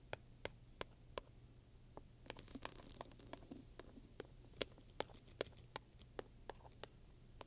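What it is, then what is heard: Studded leather handbag. A wooden pointer taps and scratches across the front of a black leather handbag with metal studs, which sounds soft and hollow. Sharp, bright clicks land at a steady pace, with a stretch of rougher scraping in the middle, over a faint low hum.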